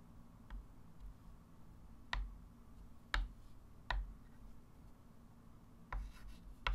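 A hand writes digits with a white chalk stick on a small, solid, wood-framed flat chalkboard. Quiet scratching is broken by five sharp, bright chalk taps that ring briefly, over a steady low hum.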